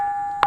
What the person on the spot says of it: ఎక్కడ తట్టినా గాని అద్భుతమైనటువంటి శబ్దం వస్తుంది